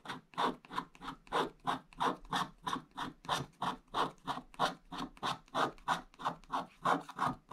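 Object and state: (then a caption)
Scratch-art paper being scraped. A wooden stick scratches the black coating off a flat, wax-coated scratch-art page with blue foil paper underneath, using vertical strokes. Each stroke makes a short, dry, raspy scrape centered in the midrange with a little high hiss. The strokes repeat in a steady, slightly uneven rhythm of about three per second.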